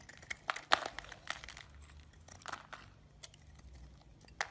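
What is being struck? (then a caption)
Bar of soap cut with a metal blade. A metal utility blade shaves the edge of a solid yellow bar of soap, leaving crumbs around it. Short, dry, crisp scraping crunches and clicks come in irregular bursts, mostly bright and midrange with almost no low end. They stop instantly over a faint, steady background.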